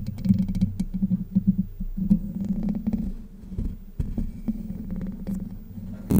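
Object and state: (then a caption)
Metal mesh microphone grille. Long white nails scratch the hollow domed steel mesh grille of a Blue Yeti microphone. The result is a close, muffled series of rapid rasping strokes and soft thumps that pulse in a low, boomy range. There is almost no high-end content.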